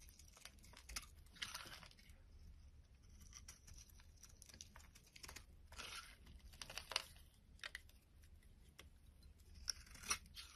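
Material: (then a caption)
Soap. A solid purple bar of soap is held in the hand while a metal blade scrapes and cuts thin shavings off its surface. The result is a quiet series of crisp, bright scraping and crunching strokes with short tearing bursts, set over a faint low hum.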